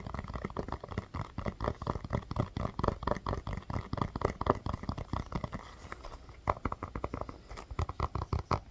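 Fingernails rapidly tap and scratch a small, orange, hollow rubber mini basketball, pressing its surface in slightly. The taps are soft, dull and muffled, with a heavy low thump and very little brightness, and each dies away almost at once. The taps thin out briefly around the middle, then pick back up in a steady, uneven patter.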